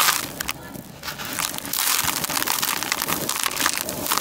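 Bare hands scoop dark grey dry crushed concrete grit in a white plastic tub into clumps, crush them, and let them crumble back into the pile. The result is a dense, bright, gritty crunching and crackling with almost no low end, quieter at first and then building into steady, close crumbling.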